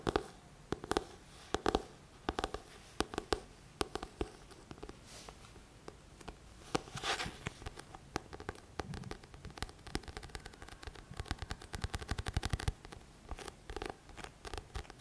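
Fingertips tap and scratch the glossy back cover of a thick paperback book. Quick, dry, soft taps come in uneven bursts, mixed with stretches of faint, brushing scratches across the cover.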